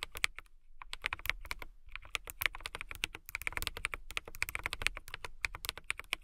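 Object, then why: Acrylic mechanical keyboard. Fingertips with long nails type fast on a transparent acrylic mechanical keyboard with clear plastic keycaps and RGB lighting. A rapid stream of sharp, bright plastic clicks and clacks comes in quick bursts with brief pauses, each keystroke dying out instantly.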